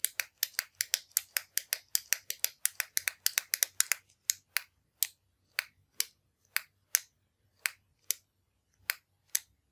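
A hand thumb-clicks the push button of a slim orange metallic retractable ballpoint pen with chrome parts, hollow, held over a wooden desk. About 35 sharp, bright, dry clicks come rapidly at first, then space out as the pace slows.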